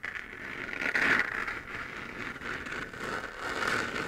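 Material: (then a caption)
Plastic. Fingernails scratch the hollow, textured surface of a 3D-printed plastic moon lamp, a sphere glowing white. The scratching is a dry, continuous rasp, concentrated in a bright band around 2 kHz, with little low end. It swells louder around the one-second mark and again near the end.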